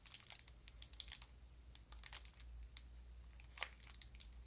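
A small cardboard sardine box held in both hands is tapped and scratched with long nails. Quiet, crisp, bright clicks and scraping crinkles come in an irregular series over a low, steady hum, each tap dying away almost instantly.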